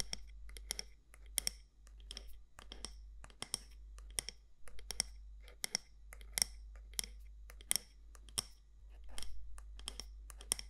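Long nails tap the side walls of a medium matte black candle jar with a gold lid, likely glass or ceramic, in about 25 quick, dry, bright clicks with almost no ring. The taps fall in an uneven rhythm over a steady low hum.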